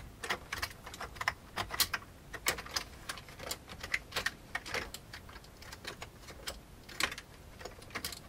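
Fingertips of both hands type fast on a full-size old beige plastic computer keyboard with a hollow plastic case. Quick, bright clicky keystrokes patter unevenly, each with a short plastic snap and almost no ring, over a faint low background hiss.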